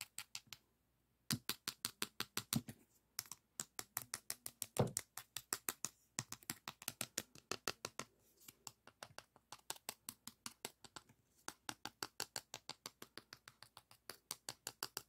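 Fingernails scratch and tap along the abrasive strip of a beige emery board nail file with a small label. Dozens of quick, crisp taps and scratches come in a steady run, each bright and dry, with brief pauses between bursts.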